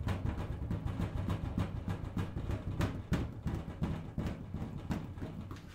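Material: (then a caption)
Sheet steel. A large, hollow sheet-metal steel filing cabinet is tapped with fingertips and nails on the drawer front near the handle, on the side and on the top corner. A quick, uneven run of soft taps produces low, hollow thuds around 70 Hz, each dying away quickly with only brief ringing.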